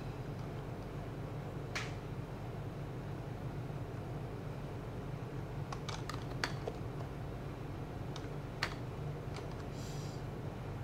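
Fingertips of both hands type continuously on a white, compact HHKB plastic mechanical keyboard with PBT plastic keycaps and a hollow case, resting on a desk mat. Short, bright, hollow key clacks come in loose clusters over a steady low hum that fills the background.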